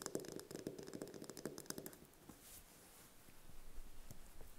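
Long red nails tap and scratch a single thin-shelled brown chicken egg held in the hands. Quick, crisp taps with a hollow, mid-pitched ring and bright clicky edges fill the first couple of seconds. They give way to quieter, soft scratching across the shell before a few light taps return near the end.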